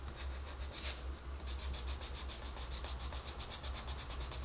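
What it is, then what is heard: Colored pencil shading on a paper page. A wooden colored pencil shades a rabbit drawing on the page of an open paper coloring book, with the other hand holding the book. Steady, rhythmic scratching strokes rasp with a bright, papery texture over a constant low hum, with one slightly louder stroke near the start.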